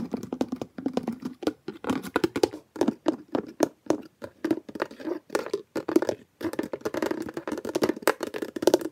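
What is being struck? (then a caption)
Small plastic bin with a fitted lid. A small hollow blue plastic bin with a fitted plastic lid is held against the body while fingertips quickly press, snap and lift the lid. The result is a fast, busy run of dry, hollow plastic clicks and taps, each ending almost instantly, centered in the low midrange with bright ticking edges and only brief pauses between bursts.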